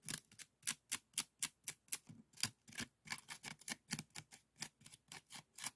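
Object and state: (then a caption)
Woven bamboo scoop scratched. An empty, small hollow bokjori scoop woven from bamboo strips is held by the fingertips and scratched along its weave with a bamboo stick. About 21 short, dry, bright scratching strokes come in a quick, uneven rhythm, each stopping almost at once with very little low end.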